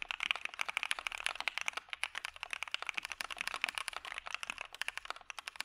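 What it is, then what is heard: Mechanical keyboard typing. A full-size dark-cased mechanical keyboard with white PBT keycaps and a POM plate is typed on steadily with the fingertips of both hands. Fast, short, bright clacks run close together with almost no low end and no ringing tail.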